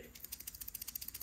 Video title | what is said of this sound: I EAT BUGS (Cooking & Eating Silkworm Pupae) | You know that a cocoon is ready if you shake it and you can hear and feel a rattling inside.